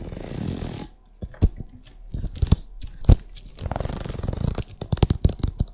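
Long acrylic nails scratch and tap across a printed vinyl oilcloth covering a flat table. A brief broadband scraping rustle opens the clip, then a sparse run of sharp, dry taps and short scratches follows, dull and low-heavy with almost no ring. It ends in a busier stretch of quick, close taps and soft scratching.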